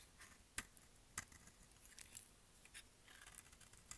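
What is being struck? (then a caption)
Bar of soap cut with a blade. A solid light-green dry soap bar, held in the hand, is shaved with a utility-knife blade in repeated cutting and scraping strokes that throw off flakes. Quiet, bright, crisp scrapes and sharp short ticks come at an irregular pace, with a few louder snaps standing out. Each sound dies away almost instantly.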